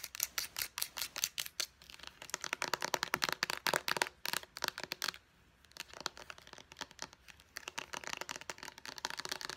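Long nails tap quickly on a small white plastic pump bottle, striking both the bottle body and its purple pump cap. The clip is a steady run of sharp, bright clicks with almost no low end, broken by a brief pause near the middle before the tapping resumes.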